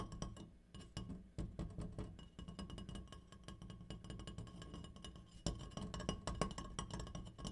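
An opera light is tapped in quick, uneven bursts, giving short clinking knocks. Each tap has a low, woody body with a faint bright ring that dies away almost at once.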